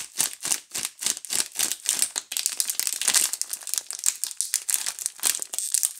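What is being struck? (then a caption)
Soap bars in thin plastic film wrap. A Duru multipack of solid soap bars in a clear plastic film wrapper is held in both hands and squeezed and rubbed with fingertips and long nails. The film makes bright, high-pitched crinkling, first in a quick steady rhythm of separate bursts and then in a denser, continuous rustle.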